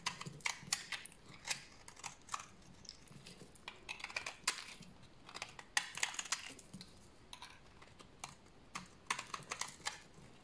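A solid, dry white bar of soap held in the hand is shaved with a utility knife blade into curled shavings. Short, bright, dry scraping strokes come in uneven bursts with brief pauses, each stroke dying away almost at once.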